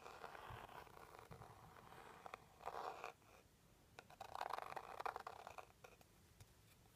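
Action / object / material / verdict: scrape / small rigid cardboard box tapped and scratched with a plastic stick / cardboard / none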